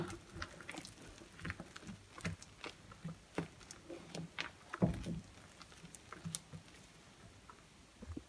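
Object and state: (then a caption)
Mushy wet soap paste. Fingertips and a hand sweep and rub creamy, mushy wet soap paste in circles around a glass bowl, squishing it. Soft wet squelches and sticky clicks come in an irregular series over a quiet background. Most of the sound is low, with brief bright crackles.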